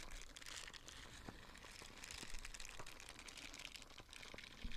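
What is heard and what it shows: A small light-blue nubby silicone dish scrubber is held in the hand while its bristle side is squeezed and scratched with fingertips and nails. The result is a quiet, steady stream of dense, bright crinkly scratching, with soft low thumps scattered through and a slightly louder burst at the end.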